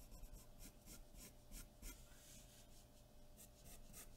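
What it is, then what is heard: Pencil shading on drawing paper. A graphite pencil held at the fingertips scratches and rubs across a large white sheet of drawing paper taped to a dark board while shading. Repeated strokes produce a quiet, gritty rasp with bright hiss bursts over a low rumble.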